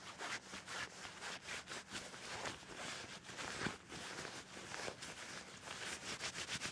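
Fingertips and nails scratch, rub and bunch a soft white or cream cloth bed sheet with a seam or hem, lying flat on a bed. A steady run of quick, bright, rasping strokes rises and falls in rhythm, with little low end beneath the dry, hissy friction.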